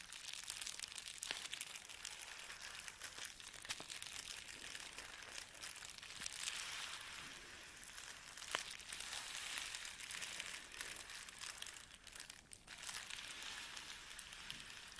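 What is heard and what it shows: Fingertips and nails press, scratch and rub a flat sheet of clear plastic bubble wrap lying on a table. The result is a quiet, steady, bright crinkling and scratching with scattered sharp ticks, and the sound briefly drops off around the twelve-second mark before resuming.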